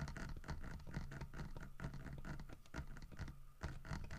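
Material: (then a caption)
Wood. Fingertips tap and scratch along the carved back and side of a large, solid carved wooden bear figurine with a painted fish. A steady run of soft, dull taps with low, woody body is mixed with rough scratching. Each tap dies away quickly.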